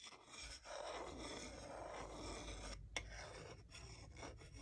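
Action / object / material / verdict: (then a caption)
scrape / wooden salad spoon and fork / wood / none. A solid wooden salad spoon and a wooden salad fork are rubbed together at their bowls, producing a steady dry rasping scrape with a low rumble beneath it. The scraping briefly drops out a few times, and a sharp bright click stands out near the three-second mark.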